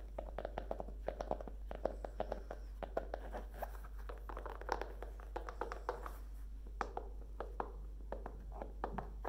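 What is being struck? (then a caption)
E-reader in a fabric-covered folio case. Long nails tap rapidly and unevenly on the cover of a Kindle in a solid, book-sized, dark grey fabric-covered folio case. Each tap is a short, dry, muted click centered in the midrange that dies away almost instantly, over a steady low hum.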